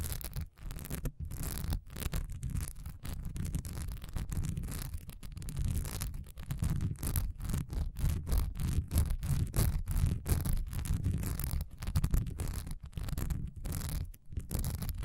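Long nails scratch fast across a solid cream wax pillar candle standing upright, its honeycomb surface textured with a diamond pattern. The result is a dense, continuous run of rapid scratching that is heavy in low rumble with a faint bright hiss, broken by brief pauses.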